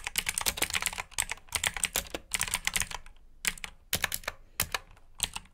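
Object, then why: Plastic mechanical keyboard. Both hands type with their fingertips on a black mechanical keyboard with plastic keycaps resting on a mat. Quick bursts of bright, crisp key clicks with very short decay run in bunches, separated by brief pauses.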